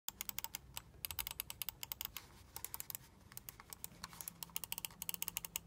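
Fingertips and short nails tap quickly on the shell of a small, hollow black plastic gaming mouse with crackle-pattern RGB lighting, held in both hands, and click its buttons. The result is a rapid, uneven run of sharp, bright, dry clicks and taps that stop almost instantly, over a faint low hum.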